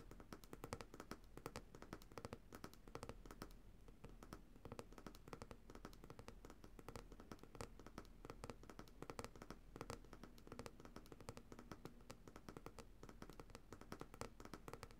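Long nails tap rapidly on the glass bottom of a coconut oil jar full of white solid oil. The result is a quick, steady stream of soft, dull clicks with very short decay, mostly low in tone with little brightness, at a quiet level.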